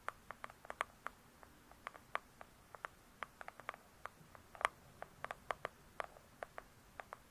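Long pointed acrylic nails on both hands rapidly tap and scratch the glossy cardboard cover of a large closed "True Crime" hardcover book lying flat. About 27 sharp, dry clicks centered near 1.1 kHz with bright edges die away almost instantly, scattered irregularly over a quiet background.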